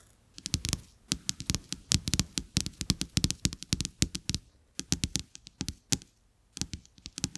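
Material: Coated paper.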